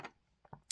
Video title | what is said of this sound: Montblanc 146 vs Pilot Custom 743 vs Platinum President | you can get a little bit of rattle with the converter on the inside there